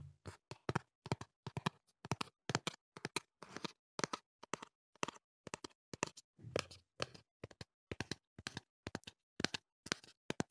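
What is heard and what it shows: Fingertips tap the surfaces of a small, hollow cardboard earplug box as it is turned in the hands. Quick clusters of short, dry taps come in irregular bursts, each with a soft hollow thump and a bright papery click that stops almost at once, separated by brief silences.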